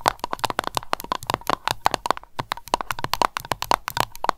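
An aroma candle container is tapped rapidly with long nails, producing a dense run of sharp, dry clicks. Each click has a ringing tone near 1 kHz and bright edges, and it dies away almost instantly. The taps come in quick, uneven bursts, with a brief gap near the middle.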